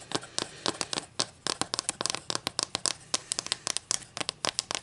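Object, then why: Wooden ruler. Long nails tap and scratch the face and edge of a solid wooden ruler held in the hands. A quick, irregular run of sharp, dry clicks rings out, with faint scraping between them. The clicks are bright and high, with almost no low end and no ring after each hit.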